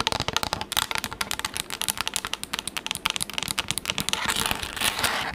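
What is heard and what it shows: A pink textured plastic tablet case, held in both hands, is rapidly tapped and scratched with long acrylic nails. The result is a fast, uneven run of dry, bright clicks with almost no ring or low end, blending into a denser scratchy hiss near the end.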